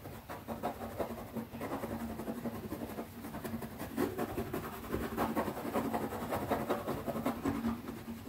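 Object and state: Leather zip pouch.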